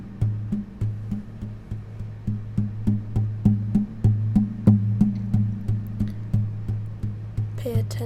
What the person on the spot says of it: pay attention to the echoing and the vibration of the guitar